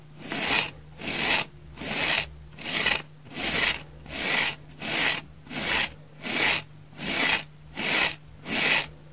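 Long painted fingernails scratch the flat face and edge of a dry, porous, palm-sized orange oval synthetic foam sponge held in one hand. The result is a steady series of bright, dry rasping strokes, roughly 80 per minute, each swelling and fading with short gaps between, over a faint low hum.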